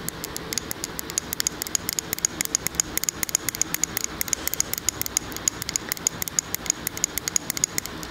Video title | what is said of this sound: Tapping and Whispering Intense Tingles ASMR on Binaural Mic - With Production Bloopers At the End | everywhere you tap it sounds a little bit different which is really relaxing